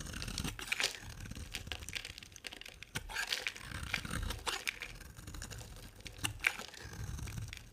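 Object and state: Bar soap being carved.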